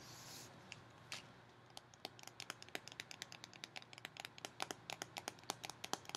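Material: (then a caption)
Metal, cardboard. Long fingernails tap and scratch a cardboard Pringles tube held sideways, including its metal bottom end. A soft, hissy scratch opens the clip, then a rapid, quickening run of about thirty crisp, bright clicks follows, each very short with almost no ring, over a faint steady low hum.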